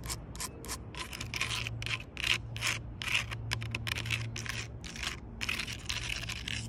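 Long purple nails tap and scratch the rough bark of a solid log, including its weathered cut end. Irregular bursts of bright, dry scratching and rubbing follow one another quickly over a steady low hum.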